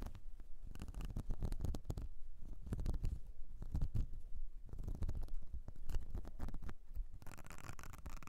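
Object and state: Silicone makeup brush cleansing mat.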